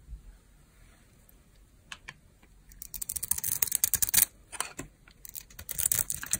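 A hand-held, solid Duru soap bar, very dry, with a green coating and an orange interior, has crunchy curls shaved off it by a metal blade. Sparse crisp scrapes at first give way to a dense run of quick, dry, bright crackling cuts that briefly pause and then resume.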